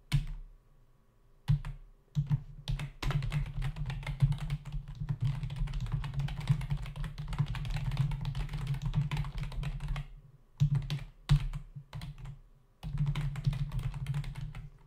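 Fingertips of both hands type rapidly on a full-size black plastic membrane keyboard with hollow keys, resting on a dark desk. A dense, low, hollow clatter of short taps runs in bursts, with brief pauses near the start, around ten seconds, and just before the end. Each tap dies away almost instantly.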